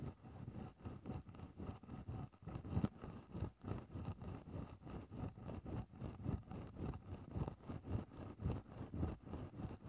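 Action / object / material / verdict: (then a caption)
scrape / synthetic fur microphone windscreen scraped with a wooden stick / synthetic fur / none. A wooden stick held in the fingertips scratches and pokes into a grey synthetic faux-fur microphone windscreen. The result is a steady run of soft, muffled rustling strokes at an uneven pace, about one to two per second. They are heavy in low thuddy tones, with almost nothing bright.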